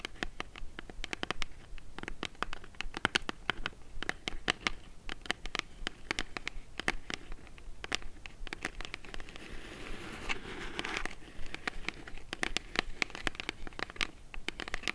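Long nails tap and scratch the sides of a small, hollow brown kraft cardboard box held in the hands. The result is a dense run of sharp, dry clicks that die away almost instantly, with a rougher, brighter scratching stretch around the ten-second mark.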